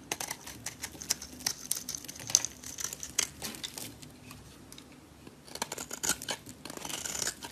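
A solid green oval bar of soap, held in the hand, is scraped with a metal blade that lifts thin shavings. Quick, dry, crinkly scrapes and bright ticks come in a rapid series, ease into a quieter stretch midway, then pick up again with a soft, hissy, shaving rasp.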